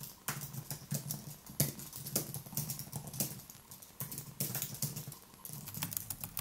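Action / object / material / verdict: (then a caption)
tap / plastic-key computer keyboard / plastic / none. A slim white Apple-style keyboard with plastic keys on an aluminium base, resting on a wooden desk, is typed with the fingertips in continuous rapid taps. Each keystroke gives a short, dry click with a soft low thump and a bright top that dies away almost at once. The irregular patter keeps going without a break.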